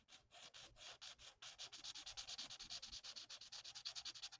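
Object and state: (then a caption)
Marker colouring on paper. The felt nib of a plastic alcohol marker is rubbed in rapid back-and-forth strokes over a thin, flat sheet of printed paper on a table while colouring a mandala. It makes a bright, dry scratchy hiss in short, separate swipes, a few slower ones at first and then a steady quicker rhythm, with almost no low end.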